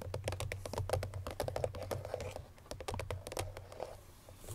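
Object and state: Cardboard perfume box.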